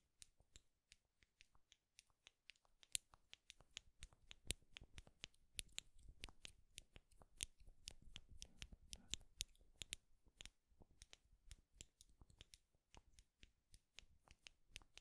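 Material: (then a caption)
Wood. Two small wooden clothes pins with metal springs, held one in each hand close to the mic, are clicked and tapped against each other with the fingertips. About 45 quiet, dry, bright clicks follow one another in a quick, irregular stream, each dying away almost instantly, with a soft low thump under some of them.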